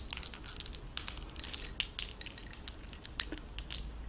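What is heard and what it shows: Fingertips with long painted nails handle a gold-tone metal necklace on a linked chain, set with oval faceted dark blue stones in gold-tone metal bezels. A quick run of light, bright clinks and ticks comes as the pieces touch, each very short with almost no ring, over a faint low hum.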